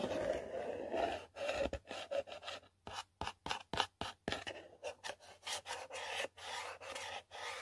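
A long pointed nail scratches lines into the printed surface near the edge of a hollow yellow cardboard product box. It makes a series of short, dry, raspy strokes in an uneven rhythm, some longer and some clipped, separated by brief silences. The strokes sound papery and mid-pitched with a bright edge and almost no low end.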